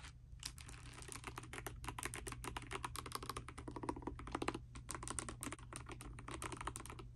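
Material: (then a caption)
Plastic. Fingertips and long nails type rapidly on a pastel dust silver D84 mechanical keyboard with plastic keycaps. The result is a dense stream of crisp, bright clicks with short, clacky decay and a brief pause near the middle, over a steady low hum.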